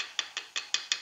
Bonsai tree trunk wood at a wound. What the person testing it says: 단단한 나무 소리가 나죠. 그러니까 이 자리가 전혀 썩어 들어가지가 않았다라는 뜻이에요.